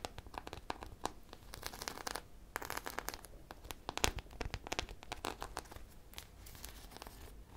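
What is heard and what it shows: A hand-sized squishy foam popsicle toy, densely coated with small colorful hard sprinkles, is scratched and tapped with long painted nails. The result is a dense run of crisp, crackling scratches and clicks with bright, gritty texture. Some short bursts sound like tearing or crinkling.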